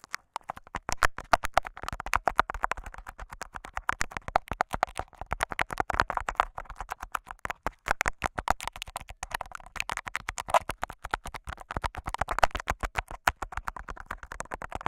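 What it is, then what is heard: Tape-covered microphone scratched. Short fingernails and fingertips of both hands scratch and rub clear, crinkly scotch tape wrapped over the metal grille of a small handheld Zoom recorder's microphone capsule, its taped head hollow and palm-sized. The result is a dense, continuous stream of rapid, crackling scratches and rustles centered in the midrange, with a dry close-up texture and very short decays, rising and falling in loudness throughout.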